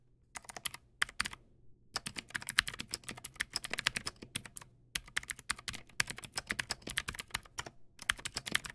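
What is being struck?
Plastic mechanical keyboard.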